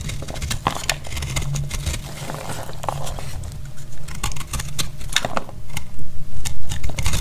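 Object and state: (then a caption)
Dry soap bar, crumbling when cut. A solid, dry blue and white speckled soap bar is held in the hand and cut with a metal blade, crumbling into chunks. Short, dry crunching and crackling scrapes come in an uneven rhythm over a low, dull body, with brief sharp clicks. The cuts grow louder and more pronounced toward the end.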